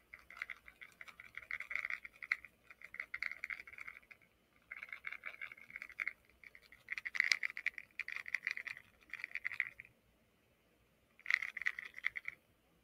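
A small, round, clear, hollow plastic jar filled with small pinkish makeup pearl beads is held in one hand and shaken, so the beads rattle inside in quick, dense bursts with pauses between them. The rattling is a bright, dry, crisp patter centered around 2 kHz with almost no low end, and afterward the jar is set down on a fabric tablecloth.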